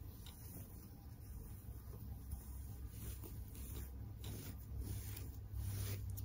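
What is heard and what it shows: Fingers and long nails rub and scratch through the fur of a large, soft, stuffed pink shaggy faux fur heart-shaped pillow held close to the mic. The result is a steady, muffled, low rumbling rustle with irregular scratchy strokes and faint bright swishes, growing slightly louder toward the end.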